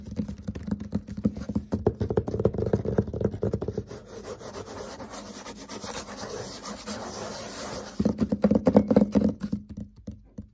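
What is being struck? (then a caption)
Dry-erase whiteboard panel. Fingertips and nails of both hands tap and scratch the surface of a flat, thin, solid dry-erase whiteboard panel with marker drawing on it, lying on a table. Quick, irregular clusters of dry taps with a low, hollow knock open the clip, settle into a quieter, steady scratching and rubbing in the middle, then return as a burst of tapping before fading out.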